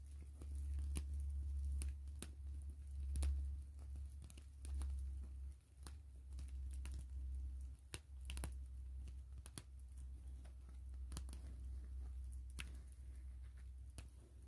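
A gray translucent plastic mesh zipper pouch lies flat while long nails tap and scratch across the mesh. Sharp, bright clicks come at an uneven pace over a steady low hum, with a few scratchy crinkling passes between the taps.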